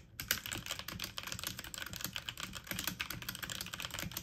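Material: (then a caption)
Plastic. Fast typing on a full-size backlit mechanical computer keyboard with plastic keycaps, keys pressed with fingertips and medium nails. A dense, steady stream of quick, bright plastic clicks and clacks runs throughout, each tap short and dry with almost no ring.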